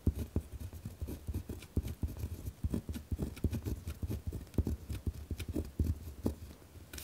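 A pen scratches across a torn-out sheet of lined notebook paper lying flat on a wooden desk, moving in writing strokes. The sound is a rough, rapid run of short, dry scratches, heavy in the low end with little brightness. The strokes come in quick, uneven bursts of roughly equal loudness.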